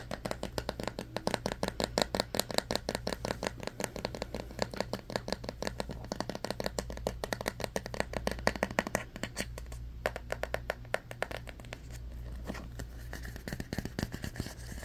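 Long fingernails tap and scratch the solid-wood back and the black bristles of a handheld hairbrush with a striped bamboo back, making a rapid run of short, dry clicks and scratchy rasps. The clicks die away almost at once, over a steady low hum.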